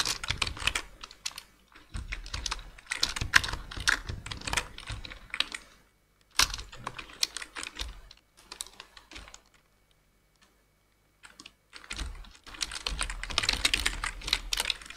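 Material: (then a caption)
Plastic. Rapid, bright key taps come from both hands typing with their fingertips on a black plastic full-size computer keyboard. The clicks arrive in dense bursts with brief pauses, and a longer near-silent gap falls about two-thirds of the way through. Each tap is short and dry with little low end.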